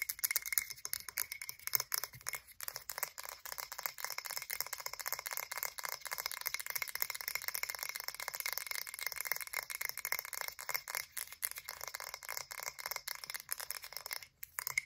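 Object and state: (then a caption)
Frosted glass candle jar. A medium blue frosted glass candle jar with a wooden lid, filled with candle wax, is tapped and scratched on its sides and bottom with long acrylic nails. Quick, dense, bright clicking and scratching continues throughout, mostly high with almost no low end, and each tap dies away almost at once.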